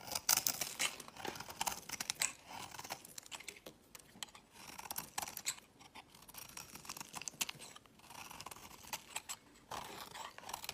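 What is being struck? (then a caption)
Bar of soap shaved with a blade. A solid pink bar of soap held in the fingers is shaved with a utility knife blade into flakes. Dense, bright scraping and crisp cutting strokes come in quick bursts, with short pauses in between and almost no low end.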